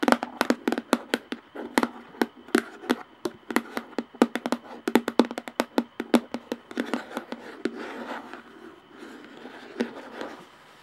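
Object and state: Plastic jar lid.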